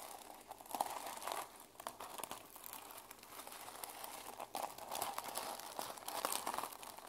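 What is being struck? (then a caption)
Plastic sequin journal cover. Long nails scratch across and flip the plastic sequins on the cover of a small journal held in one hand. Dense, dry crinkling and rustling clicks come in uneven bursts, bright and thin with almost no low end. The clicks stop short with no ring.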